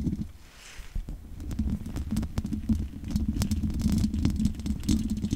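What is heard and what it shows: Long nails scratch over the top and sides of the hollow metal mesh grille of a large condenser microphone. The result is a dense, irregular run of low, rumbling scrapes with a steady droning band, broken up by quick, sharp ticks that ring only briefly.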